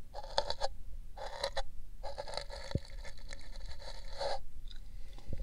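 An empty pink paper cup fitted over the ear of a binaural microphone is scratched and brushed with a thin brush held in the fingers. Bursts of dry, papery scraping come in separate short runs and then one longer run, with a hollow, cup-like tone near 580 Hz beneath bright hiss. The sound fades to a few faint touches at the end.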